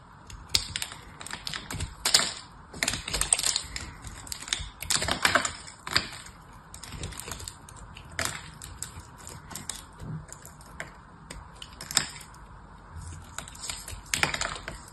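A knife cuts slices from the edge of a solid, oval, silver foil-painted soap bar, and crisp flakes break off. Short, bright crackling crunches come in uneven clusters with quiet gaps between them, each fading almost at once.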